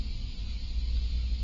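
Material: Nothing is struck.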